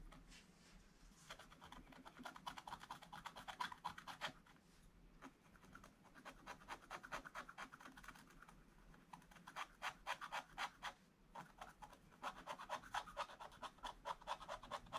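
A wooden stylus scratches the black wax coating of a thin scratch-art page in an advent calendar book lying flat on a table, while the other hand holds the book. Quick, irregular strokes make dry, bright scratching bursts centered around 1 kHz. The quiet scratching pauses briefly near 5 and 11 seconds.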